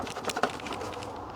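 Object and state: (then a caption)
Plastic computer part. A plastic part inside an Alienware X51 PC with an ASRock graphics card is tapped several times and sounds like plastic. The light, hollow taps are short and dry with a mid-range click around 740 Hz, and the loudest ones fall near 0.3 and 0.45 seconds.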